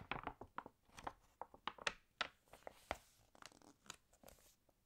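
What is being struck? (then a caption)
Glossy paper magazine. Long painted nails lift and turn the pages of an open glossy paper fashion magazine, and flat fingers smooth the spread. About 13 short, dry, crisp crinkles and rustles come in quick bursts with bright, papery highs and almost no low end. The sound is quiet throughout, and each burst cuts off almost immediately.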